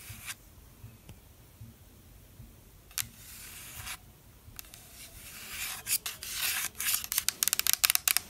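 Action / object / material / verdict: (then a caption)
scrape / plastic spray mist bottle / plastic / none. Long black nails scratch and rub along the printed body of a translucent pink plastic spray mist bottle, hollow with liquid inside. Quiet, bright, dry rubbing builds into a quicker run of sharp, crisp scratches toward the end, with almost no low end and no ring.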